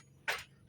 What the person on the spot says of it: Jika saya sentuh dengan jari, tidak ada suara. Bunyinya hanya "gedebuk, gedebuk." Karena sabit ini sudah tidak lagi ditempa.